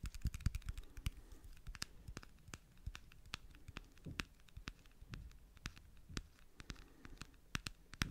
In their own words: 09:28 little battery tapping